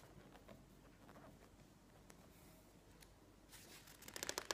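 A thick, glossy home-decor magazine lies open on a wooden table while fingertips rub and press its pages, making soft, quiet paper rustles. Near the end a page is flipped over, ending in a louder, bright burst of rapid flutter and crackle.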